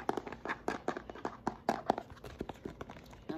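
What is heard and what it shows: A white, hand-sized plastic lotion bottle with a pump and paper label, filled with lotion, is tapped and scratched with fingernails. The result is a quick, irregular series of short, dry plastic clicks and taps with light scratching between them. Each tap cuts off almost instantly.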